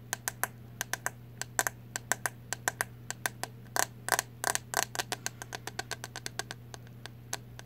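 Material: Plastic.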